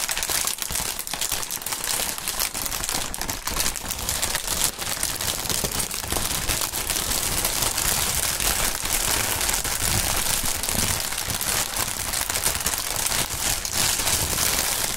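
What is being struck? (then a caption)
Plastic air-cushion packaging film. A large, clear plastic air-cushion packaging sheet, partly deflated and partly air-filled, is crumpled, rubbed and shaken by gloved hands. The thin film gives a steady, dense, bright crinkling and crackling throughout, with soft low rustles underneath.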